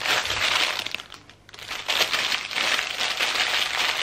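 Hands and fingertips press, smooth and crinkle a thin clear plastic packaging bag wrapped around a medium-sized patterned fabric pencil case. The result is a dense, bright, continuous crinkling that briefly softens and quiets about a second in, then picks back up to full, steady crackle.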